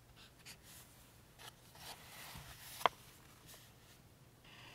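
A pink felt-tip highlighter is rubbed slowly along the table rows on a glossy printed page of an open paperback game guide lying flat on a table, while the other hand holds the page down. Quiet, scratchy marker-on-paper strokes hiss faintly across the clip, broken by one sharp, brief tick near the three-second mark.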